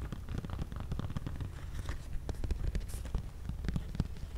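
A small spiral-bound paper desk calendar on a brown cardboard easel stand, a hollow tent shape held close to the mic, is tapped and scratched with medium-length pink-painted fingernails. Quick, dry taps run together in a steady stream with soft scratching, each sounding as a short, deep, hollow thump that dies away at once.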